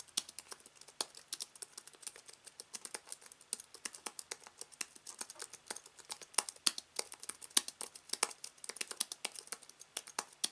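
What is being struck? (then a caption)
Slim aluminium keyboard with plastic keys. Both hands type with their fingertips on a slim aluminium keyboard with white plastic keys resting on fabric. The result is a quiet, continuous stream of short, bright clicks and taps with almost no low end and no ring after each keystroke.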